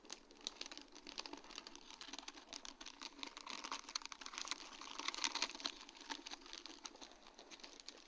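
Long dark-painted nails tap across a sheet of large, round, faceted acrylic rhinestones on a plastic mesh backing. The result is a quiet, steady run of rapid, bright little clicks and crinkly patter with almost no low end, each tap dying away almost instantly, with a slightly busier stretch a little past the middle.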